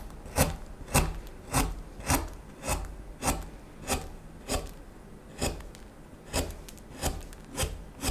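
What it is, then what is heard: Wooden spoon blank being shaved with a knife. A small steel knife scrapes and shaves the solid neck of a wooden spoon blank in short, repeated strokes, roughly one every half-second with some unevenness. Each stroke gives a brief, dry, rasping scrape with a low body and bright, airy edges that dies away almost at once, separated by quiet gaps.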